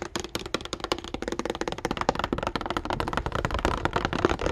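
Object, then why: Clear plastic blister pack on cardboard card. Fingertips tap and scratch the hollow clear plastic blister bubble and printed cardboard card of a calculator package. The result is a fast, dense run of short, dry clicky taps with a hollow mid-range plastic knock and scratchy texture between hits.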